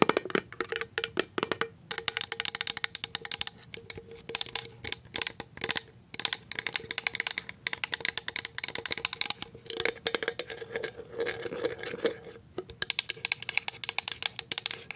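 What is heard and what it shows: A medium clear plastic cashew jar with a plastic lid and paper label, apparently empty, is tapped on the lid and the side with paper clip nails. Rapid, irregular runs of sharp, bright clicking taps die away almost at once, with a faint hollow tone near 414 Hz and almost no low end.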